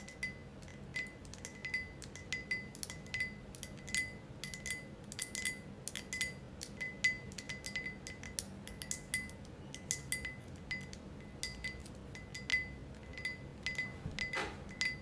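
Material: Glass.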